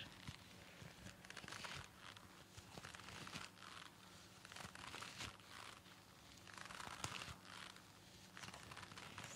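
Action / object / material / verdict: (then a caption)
scrape / pleated nonwoven fabric surgical mask / nonwoven fabric / none. Long nails scratch and crinkle the sides of a pleated disposable surgical mask of thin nonwoven fabric worn on the face. Soft, bright crinkling and scratching rises and falls in bursts over a faint low hum, staying quiet throughout.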